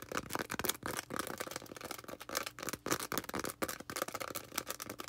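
A small green foam sponge is rubbed and scratched with long red nails. The result is a fast, dense run of dry, scratchy crackles and rubs, bright and hissy with almost no low end, broken by brief gaps.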